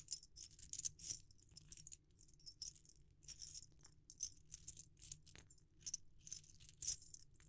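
A metal ring sizer set, made of many small chrome-plated metal rings on a wire hoop, is held in the hand and shaken and jiggled. The rings rattle and clink against each other in quick bright bursts. The sound is very high and jangling, with short sharp hits over a faint low hum.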